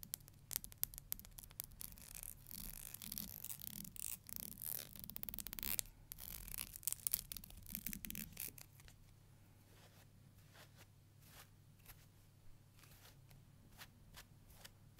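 Long nails strum and scratch the teeth of a black plastic hair comb held horizontally, making dense, bright, rapid scratching strokes over a steady low hum. After about nine seconds the strokes turn quieter and sparser, leaving soft, scattered high scratches.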